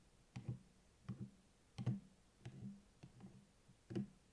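Fingertips and nails tap and rub the cardboard cover of a closed purple hardcover spiral notebook lying on a table, near the spiral. Seven quiet, dull, low-pitched bursts of taps come at an uneven pace, several as quick double knocks. Each dies away almost at once with no ring.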